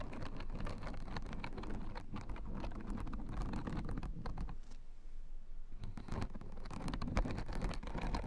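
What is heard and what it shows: A blue fabric acupressure mat covered in white plastic spiked rosettes is tapped and scratched with long nails. The result is a dense stream of quick, dry clicks and scratchy rustling, heavy in low rumble. It drops to a brief lull midway before the tapping resumes.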